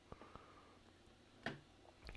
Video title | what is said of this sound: 2015 13" MacBook Pro Retina Logic Board Nightmare (820-4924) Why did you rip things off the board!!! | i shake this next to the microphone you can't hear anything